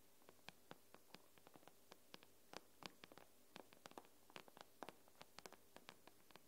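Long nails tap the glass screen of an iPad in a quick, irregular run of about 30 sharp, dry clicks, each bright and very short with no ring. The taps are quiet over a faint, steady low hum.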